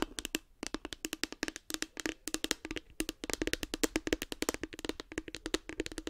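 A light blue hollow hard plastic case with a cartoon face is tapped with long nails close to the microphone. A fast, uneven run of crisp, short taps carries a hollow tone around 300 Hz and bright clicky edges. Each tap dies away almost instantly.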